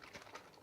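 A plastic bottle of acrylic airbrush medium is shaken, and the thin, runny liquid inside sloshes in quick, soft splashing pulses. The sloshing shows the medium is very runny, thin enough to liquefy heavy-body paints to an ink-like consistency.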